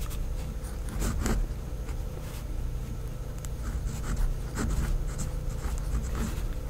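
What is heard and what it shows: A pink fineliner pen, held in fingers with long decorated nails, writes words on white lined notebook paper on a pad, making steady scratching strokes. Soft, continuous scratching is heard with a few brighter strokes standing out over a low, steady hum.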